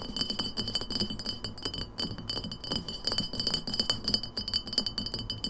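Long nails tap quickly on the glass sides and paper label of an empty glass lemonade bottle standing upright on a wooden table. The result is a dense stream of rapid, bright clinks and clicks with very short, high glassy ringing and little low end.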